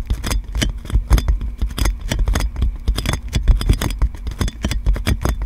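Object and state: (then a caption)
Plastic cling film on a microphone. Clear plastic cling film wrapped around a metal microphone is tapped and scratched by long nails, making a dense run of quick, crinkly taps with bright rustling over a low, heavy thump. The hits come in rapid, uneven bursts throughout, each dying away almost at once.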